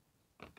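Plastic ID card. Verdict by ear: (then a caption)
Fake. A fake plastic driver's license card is dropped so its edge strikes a surface. After a near-silent stretch, two brief, bright clicks occur close together at about 0.4 and 0.6 seconds, then die away quickly. The card sounds different and not crisp, marking it as a fake.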